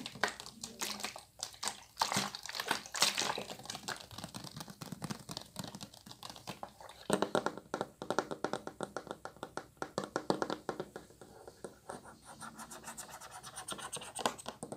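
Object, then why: Plastic water bottle. Fingernails scratch and tap along the ridged sides and green cap of an empty, clear plastic water bottle held horizontally. Rapid, crisp clicks mix with dry scratching in quick, uneven bursts. Each tap is bright and hollow, with almost no ring.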